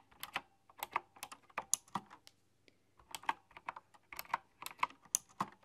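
Long dark-polished fingernails and fingertips type on a full-size, typewriter-style computer keyboard with round, chrome-rimmed, hollow keycaps. About seventeen bright, clicky taps come in quick, uneven bursts, with a short pause in the middle. The taps are dry and clipped, with a faint low hum underneath.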